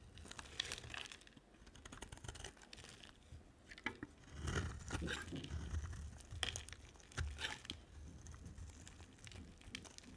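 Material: Soap.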